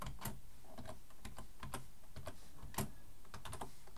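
One hand types fast with its fingertips on a black plastic full-size keyboard resting on a wooden desk, while the other hand rests near the keyboard's front edge. The result is a quick, steady stream of sharp, bright key clicks over soft low thumps, with no pauses between them.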